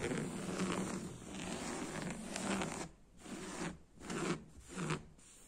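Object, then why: Padded woven fabric sofa upholstery. Fingertips and nails scratch and rub the beige woven upholstery, with a black square pattern, on a padded, soft sofa seat. A steady, raspy fabric scratching runs for about three seconds, then breaks into shorter scratching strokes separated by brief quiet gaps.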